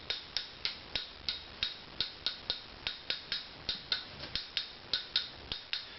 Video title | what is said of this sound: Tail Piece Acoustical Tuning (Tap Tuning); Opus 'Nathan' Violin | you can hear it's higher up here and lower down there